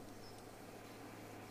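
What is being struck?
Nothing is struck.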